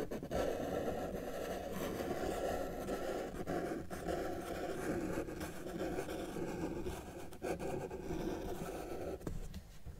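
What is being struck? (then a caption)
Felt-tip marker on a paper sheet. A felt-tip marker held in the fingers is dragged across a flat white paper sheet resting on a solid table surface, drawing lines. A steady, dry scratching fills the clip, mostly in the low-mid range, with brief pauses where the marker lifts before the next stroke.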